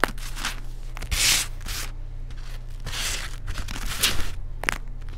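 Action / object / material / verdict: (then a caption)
scrape / baked baking soda cake chunks / baking soda / none. Fingers and fingertips pinch, crush and rub crumbled chunks of solid baked baking soda cake into loose white powder. Bright, gritty crackling and tearing rustles come in bursts over a steady low rumble, with a few sharp crisp snaps.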